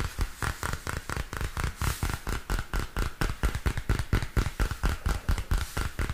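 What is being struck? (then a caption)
Spiral-bound paper notebook with plastic cover. Fingernails tap on the textured purple plastic cover of a small spiral-bound paper notebook held upright. A quick, somewhat irregular run of short, dry taps sounds mostly low and dull, with a faint crisp click on top. Each tap dies away almost instantly.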